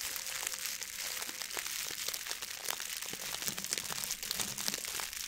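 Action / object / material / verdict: scrape / metallic plastic foil ribbon bow / plastic foil / none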